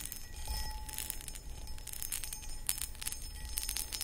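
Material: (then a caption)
Glass. Long acrylic nails scratch and tap the textured outside of a medium-sized, empty, hollow clear cut glass footed pedestal bowl. Bright, gritty scratching runs throughout, broken by quick light taps that give short, high glassy pings over a low rumble.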